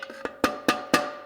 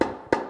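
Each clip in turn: First: clutch piston fully seated in transmission case. Second: transmission clutch piston not yet fully seated.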